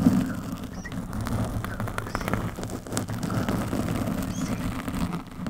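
Long metallic nails on both hands scratch a black foam windscreen on a microphone. A dense, close, low-heavy rustling and crackling roar runs steadily throughout, dotted with brief sharp clicks, and fades slightly at the end.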